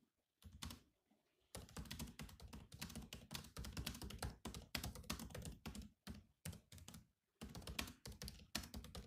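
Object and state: Laptop keyboard with plastic keys.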